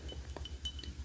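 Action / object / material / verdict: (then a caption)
tap / drinking mug / unknown / none. Light clinking taps on a Wicked souvenir mug from the off-Broadway show, with the cup's inside and its "one short day" text being shown. Several quick, bright clinks ring briefly at a high pitch over a steady low hum.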